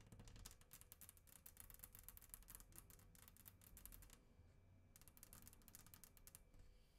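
Long acrylic nails and fingertips tap and scratch a flat glass tabletop on either side of the microphone. Quick, bright clicking taps run for about four seconds, pause briefly, then return in another burst, over a steady low rumble. The sound stays soft and close, and each tap dies away almost at once.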